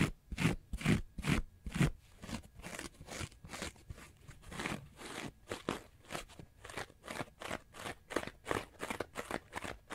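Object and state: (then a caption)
Foam sponge scratched. Fingernails scratch the face and edges of a small orange block of porous synthetic foam sponge with holes. Around thirty quick, crunchy scraping strokes follow in an uneven rhythm, each a short, dry, broadband burst with a low body. The strokes are loudest in the first two seconds and then settle to a steadier, softer scratching.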